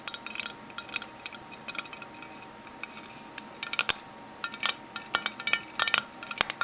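Fingernails tap on a metal Minteas mint tin in quick, uneven bursts of bright, metallic clicks and clinks. Each tap is dry and stops almost at once, with no low end, over a quiet background.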